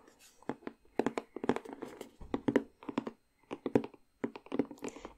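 Long nails tap and scratch along the bottom edge of a cardboard puzzle box held beside the face. The result is a close, dry run of quick, clustered taps with short scratchy strokes between them. Each sharp, hollow tap dies away almost at once.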